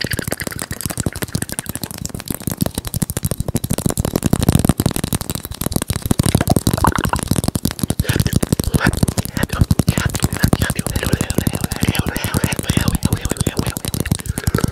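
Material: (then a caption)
Plastic. A small, hollow, teal plastic egg shaker is held in the fingers, tapped rapidly with the fingertips and shaken close to the mic. A steady stream of quick, dry taps carries a soft, bassy thump with little ring, continuing evenly for about fifteen seconds.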